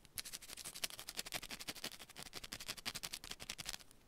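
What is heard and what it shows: Long pointed nails rapidly scratch and tap a small, solid, rectangular yellow bar of soap held in one hand. About 25 quick, dry, bright clicks and scrapes come at an uneven pace, each ending almost at once with very little low end.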